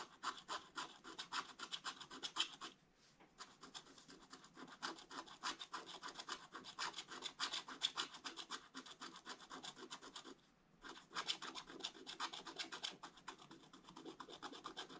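A wooden stylus scratches the black coated surface of a scratch-art paper page in an open book, working on the figure on the right. Quick, dry, bright scratching strokes come in an irregular stream, with two brief pauses.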